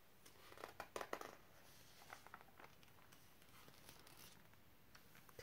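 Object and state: Glossy magazine page being turned.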